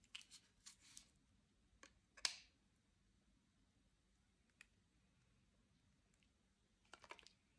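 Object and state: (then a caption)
Bar soap cut and scraped with a knife. A metal utility knife blade cuts and scrapes into the surface of a palm-sized, solid white Ivory bar soap held in one hand. Quiet, bright, dry scraping and crisp cutting bursts come in a cluster at the start, then a sharper, louder cut near the middle, a long near-silent gap broken by one faint tick, and a final flurry of scrapes at the end. Each sound is short and fades almost instantly.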